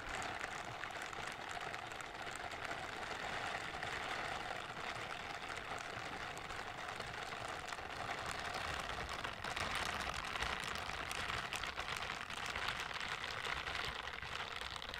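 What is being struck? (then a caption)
Silicone dish-scrubbing gloves. Pink silicone dish-scrubbing gloves are worn on the hands, their smooth backs and bristles rubbed together close to the microphone. The result is a steady, dense, brushing rustle, brightest in the upper mids and highs, with little low end. It holds an even level for the whole stretch.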